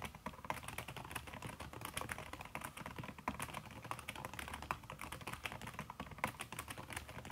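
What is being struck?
Laptop keyboard with silicone key cover.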